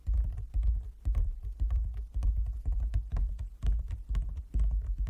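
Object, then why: Closed wooden folding chess board. Fingertips and nails of both hands tap on a large, closed, hollow wooden folding chess board. The sound is a rhythmic run of deep, hollow thumps with light clicking over them, coming in quick bursts at about two per second. Each tap dies away almost at once.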